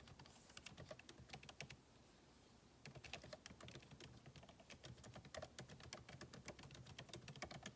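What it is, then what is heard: Laptop keyboard with plastic keys in an aluminum body. Fingertips type steadily on a backlit MacBook Pro keyboard, its plastic keycaps set in an aluminum body. Quick, bright key taps come in a continuous run, pause for about a second, then resume just as busily.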